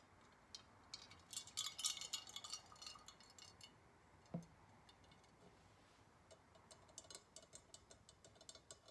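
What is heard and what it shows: A liquid-filled glass Galileo thermometer with glass floats is tilted from horizontal to upright on a table and tapped with long nails, while the glass bulbs inside clink against each other. Quick, irregular, bright ticks and tinkles cluster densely early on, with a single duller knock near the middle. Lighter scattered taps follow toward the end.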